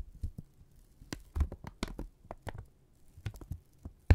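A single flat strip of thin brown kraft paper, held in both hands, is bunched, pulled taut and crinkled with the fingertips and thumbs. Soft, dry crinkles and snaps come in irregular bursts with brief gaps, each one short with almost no ring. The loudest pop lands right at the end.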